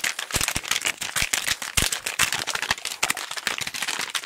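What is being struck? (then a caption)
Small cardboard box. A small, hollow pink cardboard box is held close to the microphone and tapped and scratched quickly with fingertips. The result is a dense, rapid run of dry, bright clicks and scratchy rustles with very little low end, each tap dying away almost instantly.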